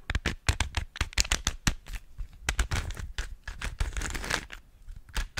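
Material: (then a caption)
Plastic. A small hollow plastic 3x3 Rubik's cube with coloured stickers is held close to the microphone while long nails and fingertips twist and click its layers and tap it. Quick, dry clicks and taps come in an uneven stream, each with a soft low thump and a bright, crackly top. Brief scraping rattles run between them and nothing rings on.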